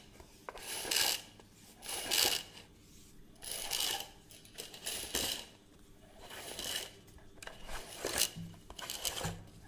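Fingers tap and scratch the casing and rim of a hollow plastic reel measuring tape with a crank, held in both hands, while its winding mechanism clicks. The sound comes in soft, uneven swells of bright, high scratching and light tapping, with short clicks and little low end.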